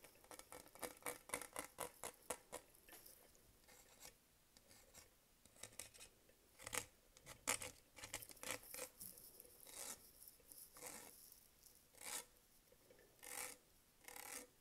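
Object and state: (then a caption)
Plastic textured tumbler scratched. Fingertips and nails scratch and rub the diamond-cut textured side of a green Starbucks venti tumbler made of hollow double-walled plastic, with its lid and straw on. Quick, bright, dry scratching strokes come in rapid bursts and short rasping rubs, separated by brief quiet gaps, with very little low end.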